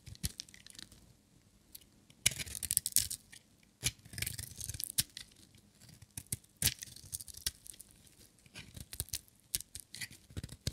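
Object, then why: Bar of soap shaved with a blade. A metal utility knife blade shaves a solid, dry, green glittery striped bar of soap. Bright, crisp scraping and crackling comes in short bursts, with sharp clicks as the blade catches and flakes break away. Quiet pauses fall between the strokes.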